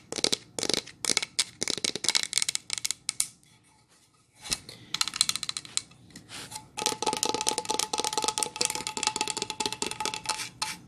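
Long nails tap and scratch a solid pine plank sign, on both its bare back and painted front. Sharp, bright clicks come in quick bursts with almost no ring. A quiet pause follows, then denser tapping and scratching.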